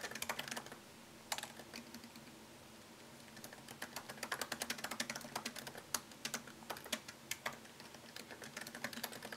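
Fingertips type on a MacBook Pro laptop keyboard with plastic keycaps set in an aluminium body. Quick, bright, dry clicks come in fast runs, then pause briefly between about one and three seconds, with a low steady hum underneath. The typing resumes in a dense, uneven patter until the end.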